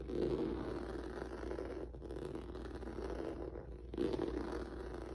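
Fingertips and nails scratch across a flat black rubber or vinyl mat with a textured noodle surface, producing a continuous dry, raspy scraping centered in the low-mid range. The scratching briefly softens near two seconds and again around three and a half seconds, then returns louder at four seconds over a steady low hum.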